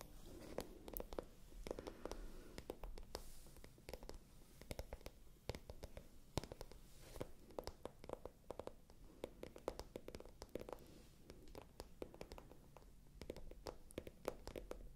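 A small, pale pink faux leather handbag with a gold chain strap, hollow and apparently empty, is held close to the microphones and tapped and scratched with long manicured nails and fingertips. Quiet, dense, dry clicks and scratchy rustles follow one another rapidly over a soft, low-weighted rumble. Each tap dies away almost instantly.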